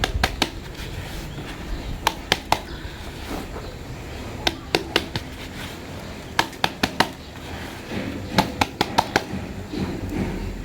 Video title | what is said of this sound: PERTUMBUHAN BAGUS TAPI GANTI MEDIA TANAM⁉️CARA GANTI POT & MEDIA TANAM AGLAONEMA SWEET DREAM SUBUR❤️ | Saya tepuk-tepuk dan memang padat ini